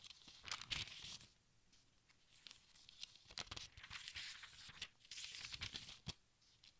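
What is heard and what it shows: Fingertips turn the thin, crinkly pages of a large open textbook, producing bright rustling and crinkling bursts. Two denser flurries of page noise are separated by a quieter stretch of soft paper handling, with a sharp crisp snap near the end.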